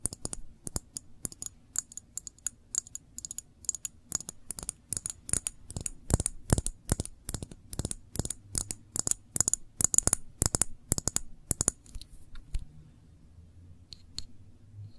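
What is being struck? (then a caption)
Glass jar with metal lid. Long nails tap quickly on a small glass jar full of cranberry jam, with a paper label and a metal screw lid, striking both the glass and the label. Dozens of sharp, bright clicks with almost no ring fall in a rapid, uneven rhythm over a faint low hum. The tapping stops after about 12.5 seconds, leaving a soft low rumble and a couple of faint taps near the end.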